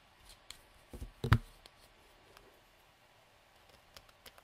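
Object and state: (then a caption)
Plastic cosmetic tube with cap. Fingertips and nails twist and click the snap or screw cap on and off a small hollow light-blue plastic cosmetic tube. Soft, short plastic clicks and faint scratchy ticks come in a quiet, scattered series. A brief, louder twisting rattle sits near the middle.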